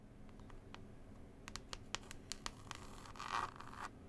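Long pointed nails scratch and tap a small, flat, book-style CD case with a textured cloth cover and a printed picture panel. Sharp, dry clicks and scratches start sparse over a faint low hum, then grow denser and louder, building into a bright, rasping scrape before easing off near the end.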